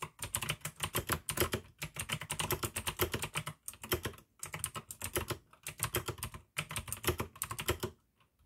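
Continuous two-handed fingertip typing on a full-size pink AUKEY mechanical keyboard with plastic keycaps and clicky blue switches. Dense, bright clicks and clacks come in rapid bursts with a low thock beneath them. Brief pauses break up the bursts.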